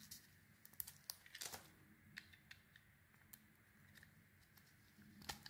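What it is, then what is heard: Bar of soap being carved. A metal knife scrapes a solid oval pale green and cream bar of soap held in the hand, peeling off layers of shavings. Quiet, bright, crisp scraping rasps and short clicks come in an uneven series over a faint low hum.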